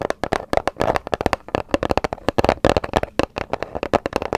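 A small light grey paper gift bag with dark round prints and a rope handle, hollow and apparently empty, is tapped and scratched with long acrylic nails and fingertips close to the microphone. A rapid, uneven series of about 25 short, dry, papery taps and crackles follows, each dying away almost at once, with a hollow midrange body around 645 Hz and thin bright edges.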